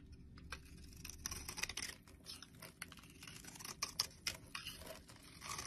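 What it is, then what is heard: Bar of soap being carved. A utility knife blade carves into the stamped face of a solid blue Lux bar soap held in the hand, flaking off brittle blue chips. The result is a quiet series of bright, crisp scraping and crackling cuts at an uneven pace, with a few sharper snaps standing out.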